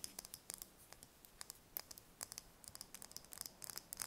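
Long red nails tap and scratch a single thin-shelled brown chicken egg held in the hands. Quiet, sharp, bright clicks arrive in an irregular patter with soft scratching between them, denser toward the end. Each tap dies away instantly.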